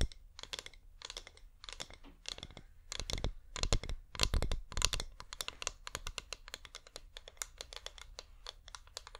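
Fingernails tap rapidly on the sides of a hand-sized, wax-covered flameless LED pillar candle. The taps are quick, dry, bright clicks that come in uneven bursts, grow louder and denser in the middle of the clip, then settle into a lighter, faster patter. Each tap dies away almost instantly, with little ring.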